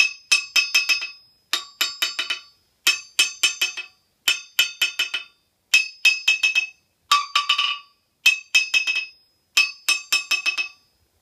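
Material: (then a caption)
Steel. A yellow-handled steel hammer is tapped repeatedly on the face of a large, solid forged steel anvil resting on a steel stand, testing its ring and rebound. Nine separate bursts of quick, bouncing strikes each fade out in a short run of lighter rebounds. Each burst gives a bright, high, clinking metallic ring centered near 2.6 kHz, with no low end and a fast decay between taps.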